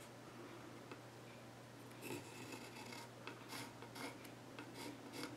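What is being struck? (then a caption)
Pencil tip on a wooden stool top. A pencil tip held in the fingers scratches lines across the flat top of a solid, reddish-brown wooden child's stool with visible grain. After a quiet start with a steady low hum, a series of soft, dry rasping strokes come in bursts with bright, scratchy texture.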